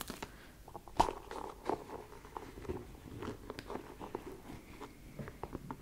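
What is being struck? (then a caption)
Leather sneaker with rubber sole. Long pink nails tap and scratch the leather upper near the laces of an empty white leather low-top sneaker with a rubber sole, held in hand close to a fluffy microphone. A steady run of quick, dry taps and short crunchy scratches sounds, with one sharper tap near the start standing out above the rest.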